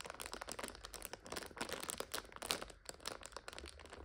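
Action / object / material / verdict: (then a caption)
scrape / instant noodle multipack in clear plastic overwrap / plastic film / none. Long nails tap, scratch and crinkle the clear plastic overwrap of a full purple 5-pack of instant noodles. The result is a quiet, steady stream of bright, dry crackles and crinkles with quick taps and almost no ring or low end.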